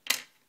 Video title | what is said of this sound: Nexus S Unboxing and Review | it's not even like a paperweight. You can hear it when I drop it on the table